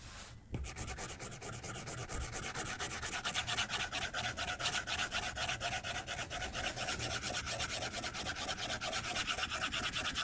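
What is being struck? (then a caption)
Plastic stylus on glass tablet screen. A white plastic stylus tip is rapidly stroked across the glass screen of a tablet lying flat on a desk. After a brief quiet start, a steady stream of quick, bright scratchy rubbing strokes continues, with a hissy top and a light tapping texture underneath.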